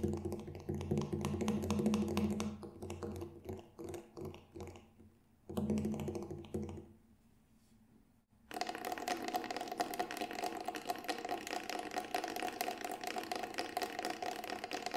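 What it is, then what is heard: Synthetic frame drum. Fingertips tap the black synthetic head and rim of a hollow Remo Buffalo Drum, a large round synthetic frame drum about 40 cm across with a dark textured shell, held upright in both hands and then turned flat. Quick, uneven taps give a low, boomy tone with a short ring, stop briefly into near silence, then return as a dense, steady patter of brighter, drier taps.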